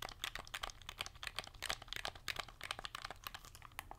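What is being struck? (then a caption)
Plastic hand-held game controller. Long nails rapidly tap and click the buttons of a cream and gold hand-held plastic game controller with a hollow shell, held in both hands close to the mic, and scratch across its plastic surface. The result is a quiet, dense stream of sharp, bright clicks and scratchy taps that stop dead with no ring.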